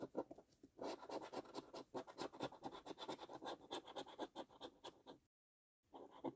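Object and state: Coin scraping a paper scratch card.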